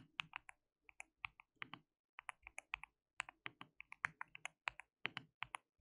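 Fingertips of both hands type on a white plastic mechanical keyboard with translucent keycaps. About thirty quick, bright, sharp key clicks come in short bursts with brief pauses, each dying away at once. The overall level is quiet.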